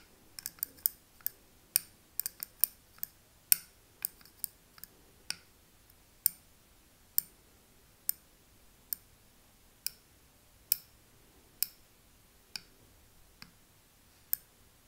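A thin metal pick taps and scratches the glass rim of a small glass candle jar filled with wax, with a paper label on the front. About 25 sharp, bright, high clicks ring out with almost no decay: quick clusters at first, then spaced roughly a second apart, over a quiet, faint background.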